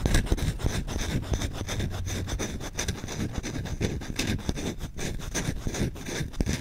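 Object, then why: Wooden spoon. A solid wooden spoon is held in the hand while its bowl is scratched fast and aggressively with short nails and fingertips. The result is a dense, continuous run of dry, rasping scratches with a dull, low body and a bright hiss on top, staying fairly steady in level throughout.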